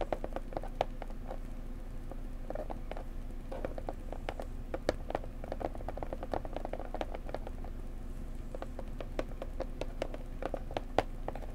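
Fingers gently tap a pretty blue decorative box up close, making a steady stream of quick, soft, dry taps. Each tap is short, centered in the midrange around 750 Hz, and dies away almost at once. A constant low hum sits underneath the whole time.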